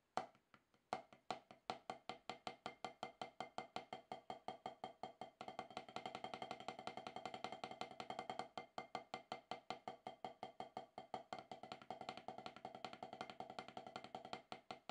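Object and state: Rubber drum practice pad.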